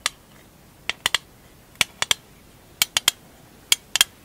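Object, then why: Small metal tin. Fingernails tap on a small, hollow, rectangular printed metal marbles tin, striking its lid and edges. About a dozen sharp, bright clicks ring out in scattered pairs and triplets, each dying away almost instantly, with almost no low end and quiet pauses between them.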